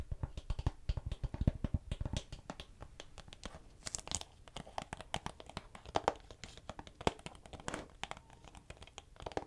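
Long nails tap and scratch rapidly across the back cover of a hollow, hard plastic DVD-style Silent Hill PlayStation 2 game case held close to the mic. The result is a dense run of dry, clicky taps with bodied low thumps and a few brighter scratchy bursts, each one stopping almost instantly with no ring.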